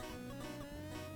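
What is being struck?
Nothing is struck.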